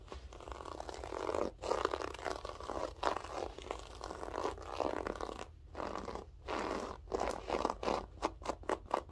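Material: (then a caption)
Carpet fibre. Long French-tip nails scratch and pick at the loops of a grey loop-pile berber carpet. The result is a series of rough, crackly scraping strokes centred in the midrange, separated by brief pauses that grow shorter and quicker toward the end. A steady low hum sits underneath.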